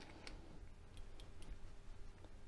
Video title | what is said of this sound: HVAC 010 Metering device, Expansion device introduction | can hear that little piece move back and forth